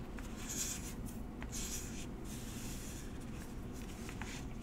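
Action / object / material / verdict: scrape / small cardboard box / cardboard / none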